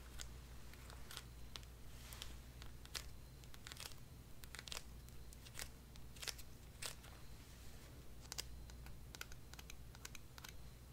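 A small yellow hollow vinyl toy figure held in the hands is tapped rapidly with long dark nails. The result is a quick, irregular run of light, bright clicks that sound like typing, set over a low steady hum.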